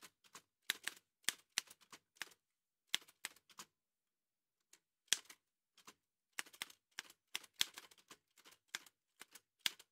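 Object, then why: Metal manual typewriter keys. Fingertips in white satin gloves strike the keys of an old dark-grey metal Remington manual typewriter, which has a hollow body and typed paper loaded. Steady typing taps come through as sharp, bright clacks centred around 3.4 kHz, with almost no low end, and each one dies away almost instantly. The taps come in irregular bursts, with a short pause near the middle.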